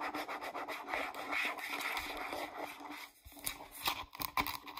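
Long acrylic nails rub and scratch the label side and flip cap of a hollow, medium-size green plastic Pert shampoo bottle. The result is a dry, hissy scratching texture in quick, uneven strokes, with a faint steady tone underneath and a few brief sharper scrapes near the end.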